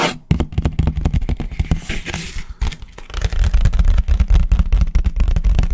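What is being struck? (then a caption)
Thin disposable paper plate. A large, thin, empty white disposable paper plate is tapped and scratched fast with fingertips and nails, held flat and then upright. Quick, irregular dry taps with a deep low thump land about four per second, mixed with a brief bright papery scratching near the start and middle.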